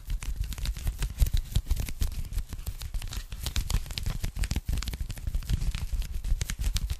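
A pink polyethylene foam packing bag, rolled or folded into a narrow strip and held in both hands, is tapped and scratched rapidly with long nails. The result is a dense, irregular stream of soft thumping taps and crinkly, crackling scratches, with a low padded body and bright, dry edges that stop instantly.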